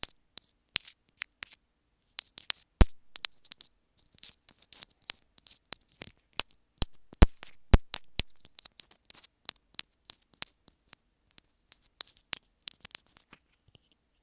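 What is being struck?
Small plastic earphone inline remote.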